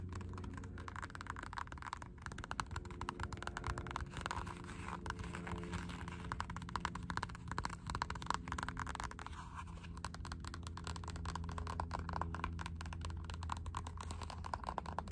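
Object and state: Rubber slide sandal strap.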